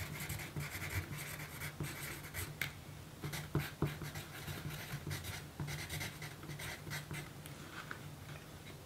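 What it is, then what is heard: Pencil writing on a paper card. A pencil's graphite tip scratches steadily across a small, thin pink paper note card resting on a table. The result is a continuous, quiet, dry scratching with a low rumble and bright, hissy strokes, broken by a few sharper taps in the middle of the clip.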